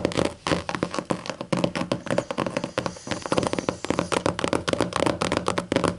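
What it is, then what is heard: Leatherette-covered hardcover book. Long matte acrylic nails rapidly tap and scratch the flat black leatherette cover of a closed, thick hardcover book resting on a table. The result is a dense stream of short, dry clicks and thuds blended with soft scratchy rasps, with almost no ring after each tap.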